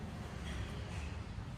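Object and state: Nothing is struck.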